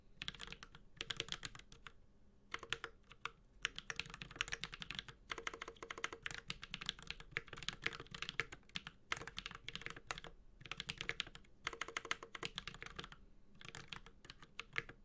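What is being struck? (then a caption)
Mechanical keyboard with plastic keycaps. Fingertips of both hands type on a Space65 Cybervoyager, a 65% mechanical keyboard with Holy Panda switches, a white-gold metal case and ABS plastic keycaps. Bright, crisp keystrokes clack in quick, dense bursts broken by brief pauses, each tap short and dry with a faint low thock beneath.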